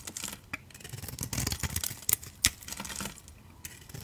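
A utility knife blade shaves the black glitter coating off a solid oval orange soap bar with a beige core, held in the palm. Soft, bright scraping and crackling strokes run throughout, with a few sharper clicks standing out near the middle.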